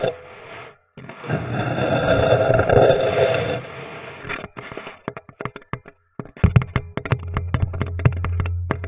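Both hands tap and drum with their fingertips on a flat, solid, light wooden board fitted with screws, springs and a contact pickup. A dense, rustling, scrape-like stretch gives way to quick, dry, sharp taps in an uneven rhythm, with a steady low hum under the last few seconds.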